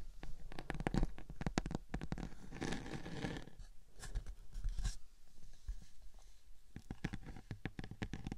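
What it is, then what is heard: Glitter-coated cardboard board. Long painted fingernails of both hands scratch and tap a large, flat, round silver glitter-coated cardboard cake board, thin and rigid, resting on top of a 3Dio binaural microphone. Quick crisp taps come in bursts, with a stretch of rough, scratchy rubbing in the middle, all heard very close with a heavy low-end thump.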